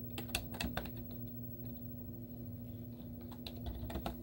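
Long teal-painted nails and fingertips type rapid taps on a white plastic laptop keyboard with cartoon stickers on its hollow keys. The result is quick, short clicky clacks over a steady low hum.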